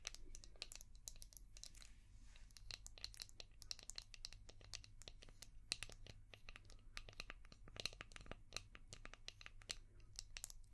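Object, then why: Hard plastic shell-shaped brush. Long painted nails rapidly tap and scratch a palm-sized, translucent orange hard plastic brush shaped like a seashell with a ridged back. The result is a dense run of sharp, bright clicks and crinkly scrapes that die out instantly, over a steady low hum.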